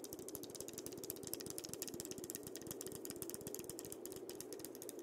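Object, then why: Dried-gourd maraca. Fingertips and nails tap and scratch the round body of a single hollow, painted dried-gourd maraca with a parrot design, held close to the recorder. A rapid, steady stream of short, dry clicks and scratches with a bright, crackly edge continues over a soft, hollow low murmur.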